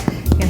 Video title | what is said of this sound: How To Make Lemonade Scones -- FOODIE HACK | if I give them a little bit of a tap you can hear that Hollow sound